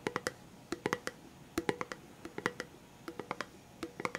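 A hollow red Pringles chips can, a composite cardboard tube with a plastic lid, is held in the hands and tapped with the fingertips on the lid and body. About twenty dry, hollow taps with a mid-pitched knock fall in quick, uneven clusters. Each tap dies away almost instantly.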